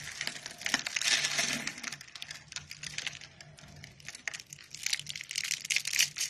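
A bare hand squeezes and crumbles brittle pink dry soap, rolled into thin rose-shaped curls and flakes, on a white surface. The flakes break apart in dense, irregular, bright crunches and crackles, with a faint low hum underneath.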